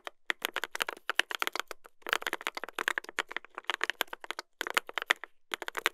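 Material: Brass, plastic.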